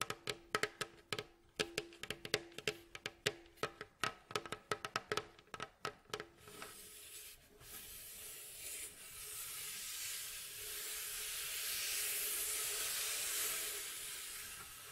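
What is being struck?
Wooden bowl back of a mandolin.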